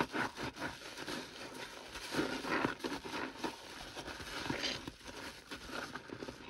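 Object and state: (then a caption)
Stainless steel kitchen sink being scrubbed. A hand in a yellow rubber glove scrubs the bottom of a stainless steel kitchen sink around the drain with a sponge, through a layer of soapy foam. The rubbing makes a continuous wet, sudsy swishing with squeaky and crackling bits and brief louder strokes, mostly in the mid and high range with little low end.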